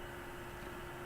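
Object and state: Nothing is struck.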